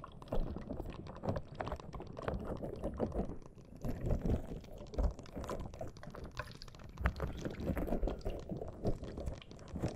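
A small green soft rubber spiky squishy toy, held close to the microphone, is squeezed and rubbed with fingers and nails. It gives dense, low, wet-sounding squishes and rapid crackling taps that keep going for the whole clip, with little brightness.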